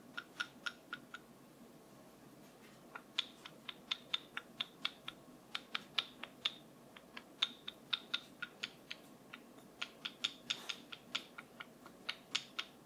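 A wooden brush is tapped in a steady series of short, dry, bright clicks that stop almost instantly, with a brief pause early on before the tapping resumes. Each tap has a ringing tonal peak around 3.5 kHz over a faint, quiet background hiss.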